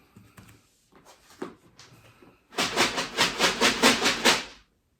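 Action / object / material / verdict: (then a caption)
shake / cup container holding dry dog food kibble / dry kibble / none. A cup container holding dry dog food is shaken, first with a few light, scattered rattles and taps. It then gives a sustained burst of rapid, rhythmic rattling as the kibble tumbles against the container, a bright, hissy rattle that stops abruptly.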